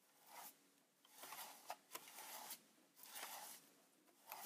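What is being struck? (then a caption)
Plastic camera body brushed with a bristle brush. A wide bristle paint brush is rubbed over the silver front panel of a Polaroid Supercolor 635 instant camera, a hollow plastic body standing on a wooden desk. Soft, bright, scratchy brushing strokes swell and fade in repeated passes, with a few sharp clicks from the plastic.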